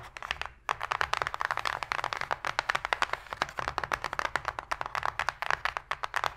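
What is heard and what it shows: Long pink nails and fingertips tap and scratch fast on the flat inner bottom of an open, empty, shallow white cardboard box. Rapid, dry clicks and papery scrapes sit in the midrange with bright edges, after a brief pause near the start.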